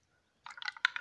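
A Tweety snow globe filled not with snow but with a lava-lamp-like material is shaken, turning the contents blue. After a near-silent start, a short burst of wet, squishy sloshing begins at about 0.45 s and rises to a sharper splash near the end.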